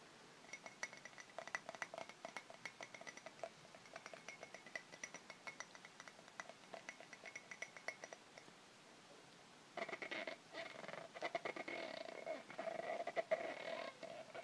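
Fingertips and nails tap and scratch the textured outside of a medium white ceramic mug that is hollow, apparently empty, held by its handle, and sits above a plastic tub of water. Quick, light, uneven clicks with bright edges run for about nine seconds and then stop briefly. Denser scratching and tapping follows, with a faint ringing tone from the mug.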